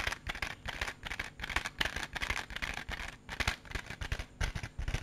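A small, hollow, clear plastic case with raised compartments is held in the hand and tapped and scratched with fingertips and nails. The result is a rapid, uneven run of short, dry clicks and scratchy rasps with a bright plastic tone around 1.7 kHz and some low thumps. Each sound dies away almost instantly.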